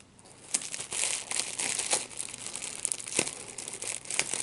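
A small piece of clear plastic wrap with large, hollow, air-filled bubbles is squeezed and popped between the fingertips and thumbs of both hands. Bright, steady crinkling fills the clip, broken by sharp, snappy pops that die away almost instantly, with almost no low-end weight.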